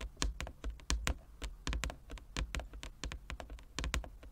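A large, flat, inlaid wooden chess board is tapped by the fingertips and nails of both hands, giving about twenty quick, irregular taps. Each tap pairs a dull low knock with a bright, crisp click that dies away almost at once.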